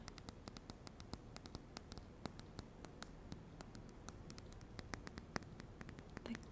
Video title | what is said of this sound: 10 ASMR TRIGGERS For TINGLES and SLEEP 😴 | Glass is a bit crisper, a bit more delicate.